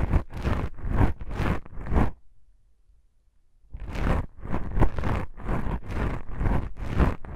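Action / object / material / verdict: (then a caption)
scrape / foam microphone windscreen / foam / none. Long pink nails on both hands slowly scratch black foam microphone windscreens, producing soft, dense, rumbling scratches in a run of close, overlapping strokes. After about two seconds the strokes stop for a near-silent pause, then resume as a steady series of muffled, low-heavy scratching sweeps until the end.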